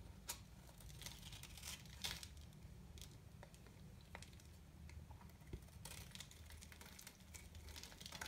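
A metal knife shaves and scrapes the face of a new, embossed, white, very hard and dry solid soap bar held in the hand, cutting it into small crumbly flakes. Dry, crinkly scraping comes in bright rasping bursts over a steady low rumble.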